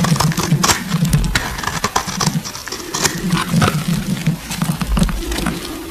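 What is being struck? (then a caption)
Bar of soap shaved with a metal blade. A metal blade shaves the surface of a solid green oval bar of soap, with shavings piling up. Repeated crisp, scratchy scraping strokes carry bright crackling detail over a steady low rumble.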